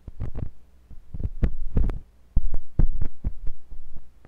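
A thin, pointed metal sculpting tool with a wooden handle, held by fingers with long pink nails, scratches and pokes inside the ear canal of a white silicone ear on a block-shaped binaural microphone. The result is a series of deep, muffled thumps and rumbling scrapes, almost all low in pitch and with a low hum underneath. Short quiet gaps fall between the bursts.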